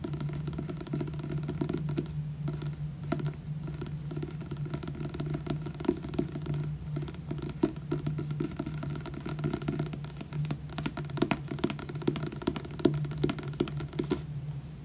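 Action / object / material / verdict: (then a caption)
tap / paperback book with glossy card cover / paper / none. Fingertips and nails tap rapidly across the front cover of a solid, purple glossy paperback book held close up. The result is a dense, continuous patter of short, dry clicks with very little ring, over a steady low hum.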